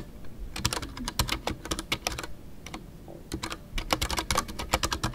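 Fingertips type continuously on a full-size Ducky One 2 mechanical keyboard with a white case, MX Brown switches and PBT plastic keycaps. Crisp, bright clacks with a soft low thud come in quick bursts, easing to lighter, sparser taps around the middle before picking back up. Each keystroke dies away almost instantly.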